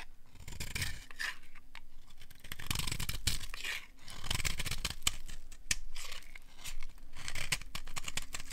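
A small metal blade scrapes and cuts crunchy flakes off the edge of a partly carved solid bar of dry orange soap held in one hand. Dry, crisp scraping and crunching strokes come in repeated bursts with bright high hiss and a low, steady hum underneath.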